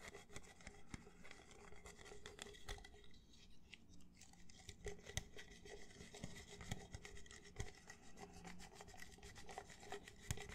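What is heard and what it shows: Fingertips and nails rub and scratch the ribbed outer wall of an empty, hollow red plastic party cup held near the microphone. The result is a quiet, irregular scratchy rasp broken by sharp little clicks and ticks, over a faint low hum.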